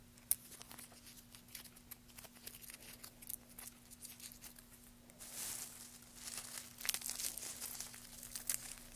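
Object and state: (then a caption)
Wood shavings. Fingertips pinch, crinkle and pick apart a pile of thin, curly wood shavings resting on a black surface. Quiet, bright, dry crackles and rustles come in many small ticks over a steady low hum, with a denser, louder rustle partway through.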